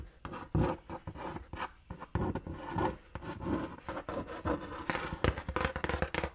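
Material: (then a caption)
Cardboard. Long nails scratch and tap the printed side of a large, brown, hollow and closed cardboard Dr. Martens shoe box held against the face. Close, dull rubbing and rasping scrapes mix with quick, soft taps in an uneven series of bursts. The sound is weighted toward low, boomy tones with little brightness, and each tap dies away almost at once.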